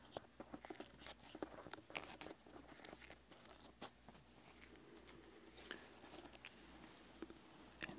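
Right-hand fingertips and nails scratch and tap the textured rind on the lower left side of a whole, solid pineapple. Quiet, crisp, bright scratches and dry clicking taps come in quick irregular bursts over a faint low hum.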